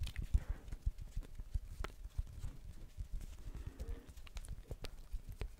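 A blue plastic ball is tapped repeatedly by hand, producing a quick, uneven series of short, dull, low knocks with occasional sharper, brighter clicks. Each tap dies away almost instantly, giving a soft clip-clop-like patter.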